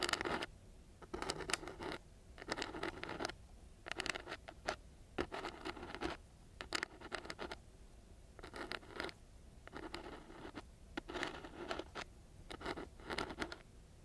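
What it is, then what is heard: Coarse sandpaper scratched. The tip of a thin, flat wooden craft stick scratches back and forth across a flat sheet of extra-gritty brown sandpaper, with a small microphone sitting nearby untouched. Short bursts of dry, rough, gritty scraping come in repeated clusters, separated by brief quiet pauses. The sound is broadband and bright with little low end.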